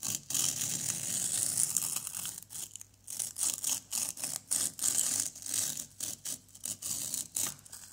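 A white plastic knife scrapes a small, solid orange plaster excavation block, making a bright, gritty, hissing rasp. A long, continuous scrape gives way to a quick series of short, separate strokes with brief pauses between them.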